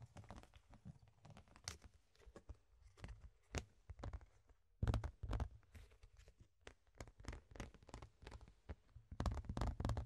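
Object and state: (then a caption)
Clear plastic box lid. A flat, rectangular, ribbed clear plastic box lid is held in the hands and tapped and scratched with the fingertips. Irregular, sharp plastic taps and clicks mix with dry, crinkly scratching over a dull low thump. The sound is loudest in a burst of tapping around the middle and again at the end.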